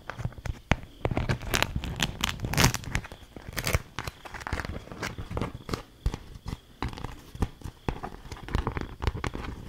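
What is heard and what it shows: A thin, stiff, patterned beeswax-coated cloth food wrap is held up, folded and crinkled with fingers and long nails. The result is a dense run of crisp crinkling and crackling, with sharp bursts and brief tearing-like rustles spread across the clip.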